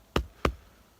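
Two knocks on a hollow dead tree trunk ring out in quick succession, each a short, hollow wooden thump with a deep low resonance that dies away quickly.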